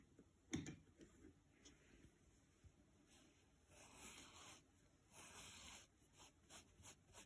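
A thin, detached green nylon scouring pad lying on a wooden table is flexed by fingers, giving a sharp crinkly crackle followed by faint scattered crackles. It is then rubbed with a soft makeup brush, producing longer, airy, hissing swishes.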